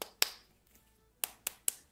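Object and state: Frozen-solid pastry.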